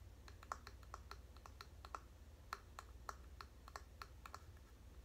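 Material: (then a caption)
Bamboo. A medium bamboo paddle hairbrush with a striped wooden back and bamboo pins, held in the hands, is tapped and scratched with long painted nails, first on the back and then on the pin side. Quick, dry clicks with a woody midrange tone around 1 kHz and a bright edge fall in an irregular run. They are quiet and die away instantly over a steady low hum.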